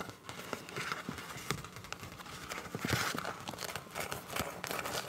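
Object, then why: Soft plastic zip pouch. Long nails tap, scratch and crinkle a hollow, seemingly empty clear soft PVC zip pouch with teal print. Quick dry taps and scratchy crinkles run close together with no ringing, bright and rustly in the highs, and grow louder in a crinkling burst near the middle before easing back to scattered taps.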